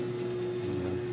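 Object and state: Nothing is struck.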